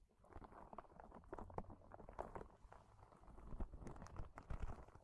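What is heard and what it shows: A small, hollow, yellow-green soft rubber spiky sensory ball has its spikes scratched and squeezed with long nails and fingertips. The result is a quiet, steady stream of dense, overlapping scratchy patters and soft squelching taps, heavy in the low end, with no high content, over about five seconds.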